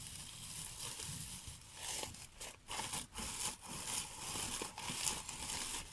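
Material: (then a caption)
Plastic. Hands with long painted nails rub and rustle the plastic needle branches of a large artificial pine Christmas wreath decorated with a pinecone and red plastic berries, leaving the pinecone and berries untouched. The result is a continuous, bright, crinkly scratching rustle that swells and dips in short strokes.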